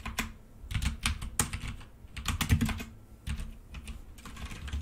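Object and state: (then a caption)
Plastic mechanical keyboard being typed on. Fingertips of both hands type steadily on a black plastic full-size mechanical keyboard with red keycaps resting on a desk. Quick, dry key taps run in uneven bursts, each with a low, thudding body and a short bright click that dies away almost at once. The typing is continuous, with brief pauses between flurries.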